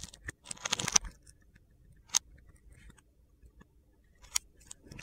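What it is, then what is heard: Bar of soap being carved. A utility knife blade scores and cuts a grid into a hand-sized solid blue bar of soap held in the palm, while soap shavings pile up beside it. Crunchy, gritty carving sounds come in a dense cluster at the start, then as sharp, bright scrapes and ticks spaced irregularly, with a few louder cuts standing out. The sound is mostly high and crisp, with almost no low end.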